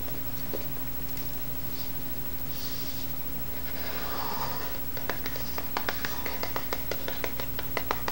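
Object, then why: Small cardboard box. A small, hollow white cardboard box with a lid is held against a table and tapped with the fingertips and nails. After several seconds of soft, airy rustling over a steady low hum, a quick, uneven series of light, bright, dry taps begins and continues to the end.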